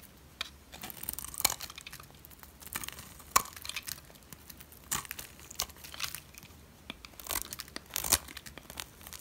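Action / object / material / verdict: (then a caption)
scrape / bar of soap scraped by a metal blade / soap / none. A metal blade scrapes the face of a solid white, dry oval soap bar, producing a run of short, dry, crackling and crumbly scraping bursts. The sound is bright and papery, with sharp louder crackles standing out among softer scratches and little low end.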